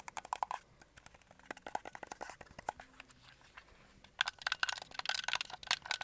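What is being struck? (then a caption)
Plastic game controller. Fingertips tap the back and grips of a red and white hollow plastic Xbox controller and press its buttons. The result is a run of quick, dry, bright plastic clicks and taps with no ring. They grow softer and sparser in the middle, then return in a denser, louder flurry near the end.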